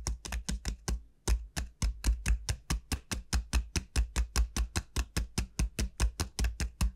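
Long nails on both hands tap rapidly on the hard shell of a large, hollow, dried bottle gourd's bulb, making 32 quick, sharp clicks with a brief pause near the one-second mark. Each tap carries a bright, crisp attack over a deep, hollow boom from the gourd's body at about 59 Hz, and the sound dies away almost at once.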